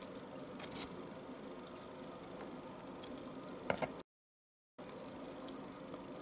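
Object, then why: Bar of household soap cut with a knife. A knife shaves thin strips from the end of a solid bar of household soap held horizontally. A steady, soft scraping patter runs throughout, centered low-mid around 560 Hz with faint bright crackles. A couple of sharper, crisper scrapes stand out near the four-second mark before a brief total silence, after which the shaving continues.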